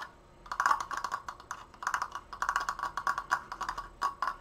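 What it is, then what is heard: Wooden triangular frame tapped with fingernails. Fingernails tap fast on the apex and crossbar of a large, open, triangular wooden-slat triforce frame held upright. After a brief quiet start, a rapid run of dry, hollow wooden clicks follows, each one woody in the midrange with a bright edge and dying away almost at once.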